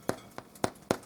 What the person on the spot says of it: it sounds nice and Hollow so this is done